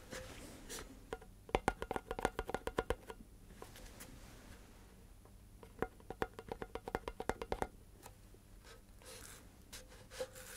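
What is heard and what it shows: Fingertips tap along the body of a tall, hollow cardboard composite can with a metal end, held horizontally near the microphone. Two quick runs of short, hollow, woody taps ring briefly around 780 Hz, separated by quieter stretches of soft rustling and faint hiss.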